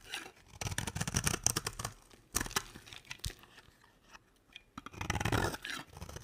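A square, solid beige bar of dry soap, held in the hand, is shaved into curls with a box-cutter blade. Dry, crisp scraping and crunching strokes come in quick bursts with bright high edges, broken by short quiet pauses before the cutting picks up again.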